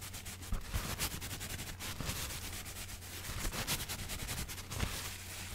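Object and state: Paper sheet being rubbed and crumpled.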